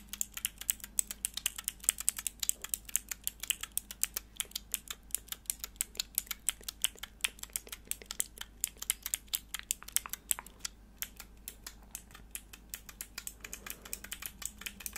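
Long nails press and click the grey plastic keycaps on a small, hollow, clear plastic mechanical keyboard switch tester with four switches, held in the hands. The result is a steady, rapid run of sharp, bright clicks that die away almost instantly, over a faint low hum.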